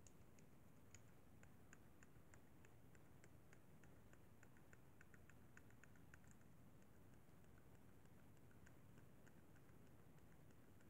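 Fingertips tap the buttons and sticks of a hollow white plastic Xbox 360 controller, making quick, light, bright clicks in a steady run. The taps sit quietly over a constant low rumble.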